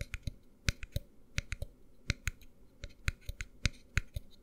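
Fingertips and nails tap the bottom and sides of a tall white plastic tumbler held tilted, producing a quick, irregular run of about 15 short, dry clicks and knocks. Each tap dies away almost instantly.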